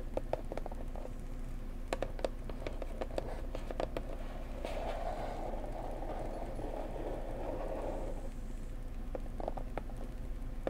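Long nails tap on the sides and edges of a small blue floral cardboard box, making light, crisp clicks with a hollow mid-pitched knock over a steady low hum. Around the middle, the tapping gives way to a softer, continuous scratchy rustle before the quick, sparse taps return.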